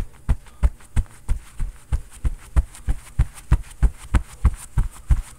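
A fist pounds quickly on a padded floral quilted cotton oven mitt worn on the other hand, giving 18 dull, low thuds at a fast, fairly steady pace. The soft fabric padding keeps each thump muffled and short, with almost no ring.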